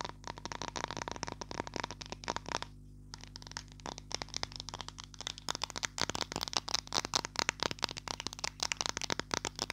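Long nails tap and scratch along the body of a small green plastic glue stick, a solid tube, making rapid, bright, dry clicks and scratchy scrapes over a faint low hum. The tapping pauses briefly near the three-second mark, then returns quieter before growing denser and louder for the second half.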